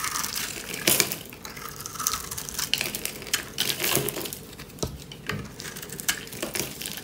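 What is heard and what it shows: A metal knife blade scrapes and cuts across the surface of a dry, hand-sized solid bar of purple and pink striped soap held in one hand with long red-painted nails. The result is a run of bright, dry crunching and crackling scrapes with sharp, quickly fading bursts.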